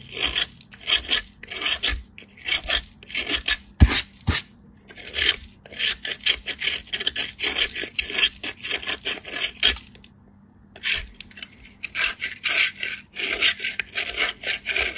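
A solid cream-colored bar of soap is grated on a small metal grater with fingertip pressure, making quick repeated rasping strokes. The rubbing scrape is bright and airy with little low end, with a couple of sharp clicks near the four-second mark and a short pause just after ten seconds before the strokes resume.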